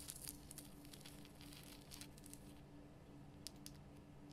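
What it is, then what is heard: Himalayan rock salt lamp. Long nails scratch and tap the rough surface of a large, glowing pink Himalayan rock salt lamp, a solid salt block. Quiet, dry crackling scratches come with scattered bright, short ticks over a steady low hum.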